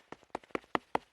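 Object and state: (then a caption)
Shop vacuum canister packed full of snow. A shop vac canister packed full of snow and ice after vacuuming snow is tapped six times in a steady rhythm. Each tap is a short, dull knock with almost no ring, sounding solid because the canister is full.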